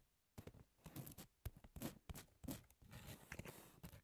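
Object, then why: Emery board nail file, abrasive grit on a thin card core. Long natural nails on both hands scratch and tap the gritty surface of a flat pink double-sided emery board nail file (abrasive grit over a thin foam or card core), about 18 cm long, lying on a textured white cloth. Quiet, dry, raspy scratches and soft muffled taps come in quick irregular bursts, each dying away almost at once.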